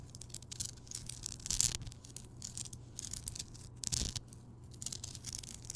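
A large, rounded, solid Himalayan rock salt lamp, lit, is scratched and tapped by long nails on its rough surface. The result is a quiet, bright, gritty scratching with soft, irregular taps, swelling into two louder scraping bursts.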